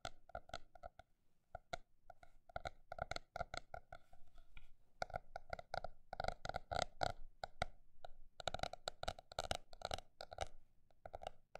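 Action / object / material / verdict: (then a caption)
tap / paper notebook / paper / none. A paper notebook is tapped with fingers in quick bursts and slower runs, giving short, dry taps with a hollow mid-pitched knock around 700 Hz and a faint papery high edge. The taps die away almost instantly, leaving brief near-silent gaps between clusters.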